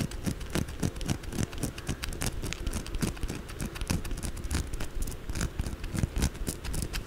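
Long blue acrylic nails rapidly tap and scratch the edges and corners of a white solid bar of soap as it is held upright and turned. The result is a dense, steady patter of short, dry taps with low, dull thuds and faint bright scratchy scrapes.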